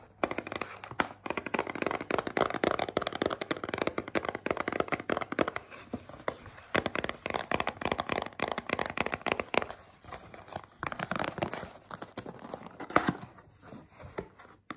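Long painted nails tap and scratch a small, hollow printed cardboard box of peppermint tea held in the hand. Rapid, dense, dry clicks and scratchy rustles sit mostly in the midrange, with bright edges on the sharper taps. Each hit dies away almost at once.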